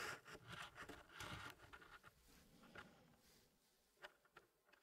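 Fingertips in fingerless gloves slide and press solid wooden pieces into the small square tray of an Elegance wood packing puzzle, which has a reddish hardwood zigzag frame and a light wood base. Soft wood-on-wood rubbing and scraping is heard, loudest at the start, then fading to a quieter shuffle. A few sharp, bright clicks stand out near the end.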